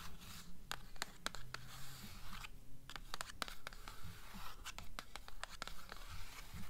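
Long nails scratch and tap the glossy paper dust jacket on the front cover of a blue "Beautiful Darkness" hardcover book held upright. Soft, dry scraping alternates with a quick, fairly regular run of sharp, bright taps that die away instantly, all at a quiet level over a low background rumble.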